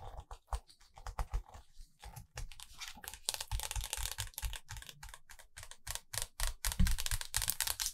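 Long acrylic nails tap rapidly on the glossy paper pages of a large open hardcover photo book, *Fairy Tales*, making quick, dry clicking and light scratching sounds. Near the end, a page turns with a soft rustle to a new spread.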